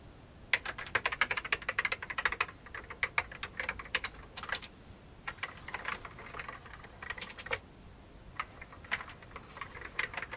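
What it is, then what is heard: Old plastic computer keyboard. One hand types with its fingertips on an old beige plastic computer keyboard, making bright, sharp clicks with almost no ring. The keystrokes come in quick bursts, with a short pause midway while the hand leaves the keys.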